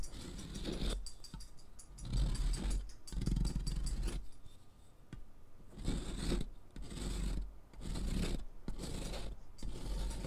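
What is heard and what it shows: A thick, solid pink sidewalk chalk stick, held in the fingers, is scraped back and forth across a metal mesh foot-file rasp with a purple handle that rests on cardboard. Repeated bursts of coarse, gritty grating are heard, with a low, dull rumble and a faint bright hiss on each stroke. Pink chalk powder piles up underneath.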